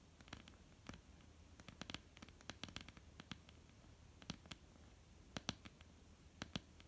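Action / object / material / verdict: tap / wooden tabletop / wood / none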